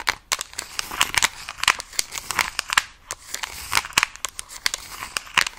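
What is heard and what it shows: Long acrylic nails tap and scratch the back and edges of a Nintendo Switch Lite in a mint plastic case with stickers. A rapid, irregular run of sharp, dry clicks mixes with scratchy, crinkly rasps between them. The sound is bright and thin, with almost no low end and no ring after each tap.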